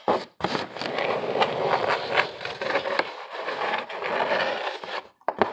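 Fingernails scratch the ribbed side of a hollow corrugated cardboard box, making a dense, rough, papery rasp that runs almost continuously with a brief pause near the start. Near the end the scratching stops, the box is tilted toward the viewer, and a few short, sharp scrapes follow.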